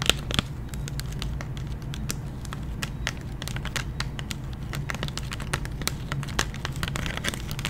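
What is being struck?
Clear plastic blister pack on a cardboard card.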